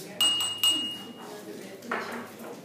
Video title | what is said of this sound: Electrostática. Ley de Coulomb. Potencial eléctrico | esta copa es de vidrio